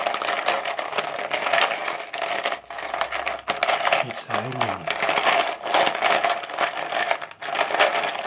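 Fingertips stir and rake through loose ice cubes in a large frosted translucent plastic bowl. The ice makes a dense, continuous clatter of bright, short clicks against itself and the bowl walls, with brief lulls between strokes.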